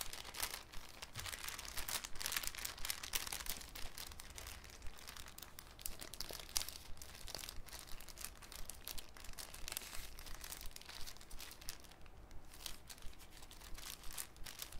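A thin, clear cellophane sheet is picked up and rolled or folded between fingers, crinkling steadily throughout. Dense bursts of sharp, bright crackles and crunches sit over a faint, constant low hum, with the texture rising and falling as the sheet is worked.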